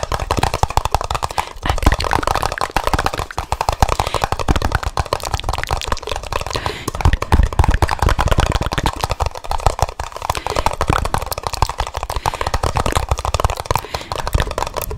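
Two identical empty, hollow red plastic party cups, held mouth-out on both sides of the microphone, are tapped and knocked rapidly on their bases with fingertips and nails. The result is a dense, continuous stream of short, dry knocks with a hollow, low thump and almost no ring.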